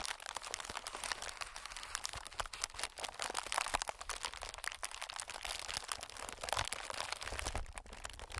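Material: Plastic film.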